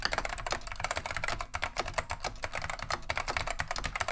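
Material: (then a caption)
Plastic. Continuous fingertip typing with both hands on a beige plastic vintage Wang 725 mechanical keyboard fitted with Alps SKCM Neon Green/Lime switches. The result is a rapid, steady stream of sharp, bright clacks with very little ring, over a faint low steady hum.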